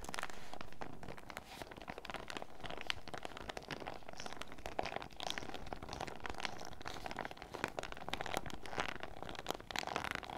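A small, clear fruit-print PVC zip pouch full of sachets is held close and squeezed, crinkled and tapped with fingertips and nails. The result is a dense, continuous crinkling and rustling broken by many sharp, bright taps and clicks at a steady low level.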